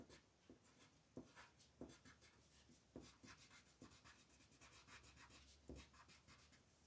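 An orange-brown colored pencil shades a flat paper coloring book page lying on a table in short strokes, while the other hand, with long painted nails, holds the page still. Quiet, dry scratching and rubbing is heard, a steady papery hiss broken by a few sharper stroke onsets that stand out and fade quickly.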